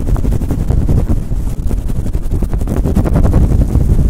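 Fingertips and nails quickly rub a fluffy faux fur windscreen cover on a Blue Yeti microphone. The result is a loud, continuous, muffled rumble concentrated in the deep lows, with rapid scratchy rustling bursts and almost no high end.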